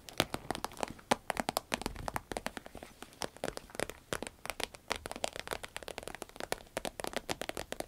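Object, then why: Soft vinyl zip pencil case. Long red nails scratch, tap and squeeze a small, hollow, soft cylindrical pencil case of shiny green vinyl with a zip. Dozens of quick, crisp taps and crinkly scratches patter steadily like rain. Each one is short and dry, with a bright edge and little low end.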